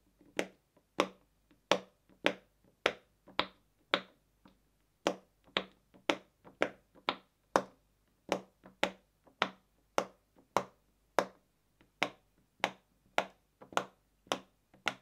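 A fingertip pokes and pops the hollow silicone bubbles, one after another, on a round rainbow silicone pop-it fidget toy resting on a white table. About 25 short, dry, bright pops come at a steady pace, each with a crisp snap and a mid-pitched body that dies away almost instantly. There are faint gaps of near silence between them.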